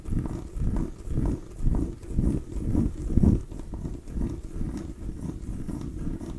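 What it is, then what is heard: Small pumpkin tapped and scratched. Long nails tap and scratch a small orange mini pumpkin with rough skin, a hollow gourd held up in the hand. A quick series of dull, low, hollow thumps repeats at an uneven pace, blended with soft scratchy rustling, with each tap dying away almost at once.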